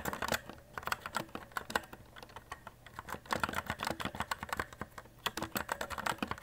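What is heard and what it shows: Both hands type continuously with fingertips on a white compact RGB mechanical keyboard, an E-Element Z-88 with plastic keycaps and a metal top plate, lying on a desk. Rapid, short key clicks come in quick bursts with brief pauses. The clicks have a clacky midrange body and a little high brightness.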